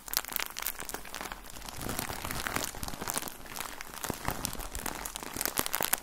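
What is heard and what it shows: Fingertips squeeze and crinkle a full plastic bag of cotton balls with an orange label, making a dense stream of crisp, bright crackles and crunches. The rustling runs continuously for about six seconds, with sharper, louder crinkles near the start and end.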